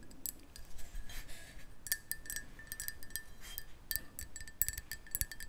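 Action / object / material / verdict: tap / ceramic mug tapped with fingernails / ceramic / none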